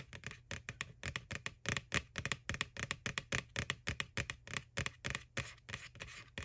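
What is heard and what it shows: Long nails tap quickly and unevenly on the printed face of a white, hollow plastic ghost Halloween bucket from McDonald's lying on its side. Each tap is a short, bright, hollow click that dies away almost instantly, with a low body thump beneath.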